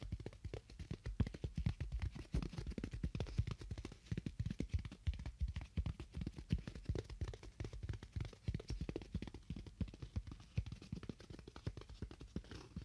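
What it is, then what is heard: Styrofoam block being tapped. Fingernails tap continuously on a styrofoam block, making rapid, irregular, dull low thuds, about three per second, with almost no brightness. Each tap dies away almost instantly, leaving a soft, muffled patter throughout.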